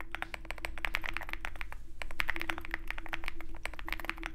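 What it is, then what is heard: Mechanical keyboard with PBT keycaps. Fingertips of both hands type continuously on a Zoom65, a compact 65% mechanical keyboard with a dark case and white PBT keycaps. Rapid, short key clacks overlap, each bright and centered in the upper mids. A steady low hum runs underneath throughout.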